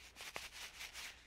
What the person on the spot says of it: shake shake shake it's just it's a powder